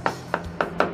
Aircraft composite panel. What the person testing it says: you are listening for the sharp sound. Sharp sound indicates a good adhesion and a good structure.